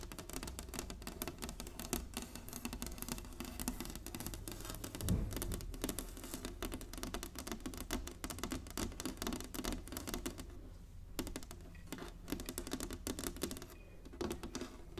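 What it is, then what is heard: Wooden chessboard. Long nails rapidly tap and drum on the squares of a large, flat, inlaid wooden chessboard. The result is a dense, steady patter of short, dry clicks over a low rumble, with brief pauses near the 11- and 14-second marks.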